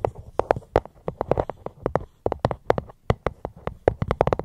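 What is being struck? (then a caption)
Fruit box. Fingers tap on a fruit box held close to the microphone. Quick, irregular, dry knocks with a hollow mid-range tone around 500 Hz die away almost instantly, with a soft low thump under each one and a few brief pauses in between.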